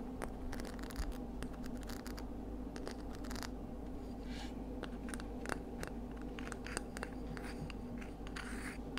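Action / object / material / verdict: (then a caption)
scrape / scallop seashell / shell / none. A palm-sized, hollow, empty pink-white ridged scallop shell is turned in the hands while long nails tap and scratch its ribbed outer surface. Quick, dry clicks and sharp ticks with short scratchy bursts sit over a steady low hum, and each tap dies away almost instantly.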